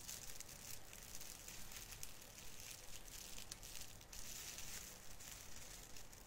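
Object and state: Plastic artificial Christmas tree needles being rubbed.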